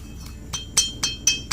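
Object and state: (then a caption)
Loose, worn piston fit in engine cylinder block. With the ring removed, a piston is set inside a motorcycle's metal engine cylinder block and tapped five times, giving sharp, bright metallic clinks that ring only briefly over a faint low background hum. The knocking is clearly loose, the sign of a worn block with a badly scratched bore on a problem motorcycle; a normal block knocks more quietly.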